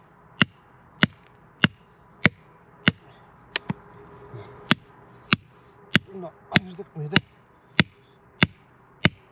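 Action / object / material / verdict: strike / rock face struck with a hammer / rock / hollow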